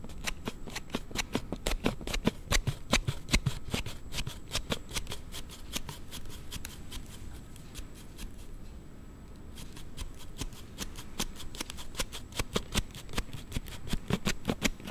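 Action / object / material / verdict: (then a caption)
scrape / plastic sliding phone case / plastic / none. A plastic sliding phone case for a Note7 is thumbed open and shut rapidly, producing a dense run of sharp, short clicks with a clattery low body. The clicking stays busy throughout, easing slightly in the middle before picking back up toward the end.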